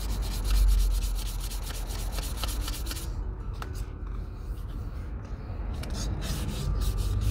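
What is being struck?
Leather cowboy boot.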